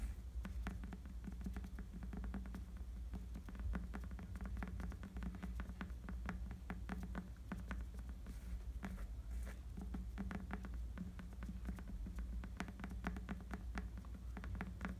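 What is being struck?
Rubber bicycle tire tread.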